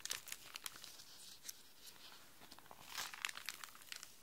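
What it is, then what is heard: Plastic sheet protector pages being crinkled. Hands with long nails press, rub and scratch across the empty, clear, thin plastic sheet protector pages of an open pink display folder lying flat on a desk. The result is a bright, crisp crinkling with scattered sharp crackles over a faint hiss.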